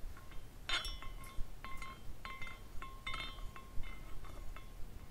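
A small clear glass carousel figurine is spun by fingers at the top and later nudged with a fingertip. As it turns, its hanging glass horses tinkle against each other in a series of light, bright clinks with short ringing tones. A low, steady rumble sits underneath.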